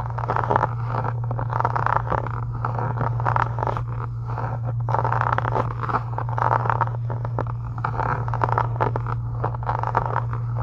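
Long acrylic nails scratch a solid, pink embossed faux-leather book cover. The result is a steady, dense rasping scrape with a midrange, papery texture, heard over a constant low hum.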